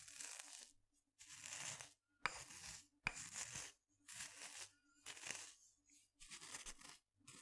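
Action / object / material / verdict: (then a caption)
scrape / wooden mortar and pestle / wood / none. A wooden pestle grinds and scrapes inside a small wooden mortar held in one hand. Short bursts of bright, gritty scraping repeat with brief silences between them, and two sharp wooden knocks stand out near the start.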